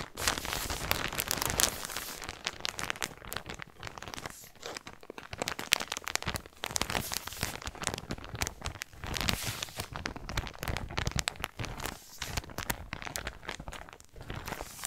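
A clear, soft plastic shipping polybag with a white Chiquelle label, full with a folded pink knit sweater, is held close to the microphone and squeezed and crinkled with fingertips and painted nails. The result is dense, bright crinkling and crackling that comes in uneven bursts with short quieter dips for about fifteen seconds.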